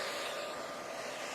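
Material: Nothing is struck.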